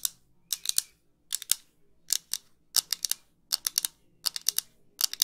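Long pink nails tap and scratch thin metal wire-frame eyeglasses with clear lenses, small and light, held close to the mic. Quick, bright, high-pitched clicks come in short clusters of three or four, with quiet pauses between. Each click stops almost instantly, with no ring and no low end.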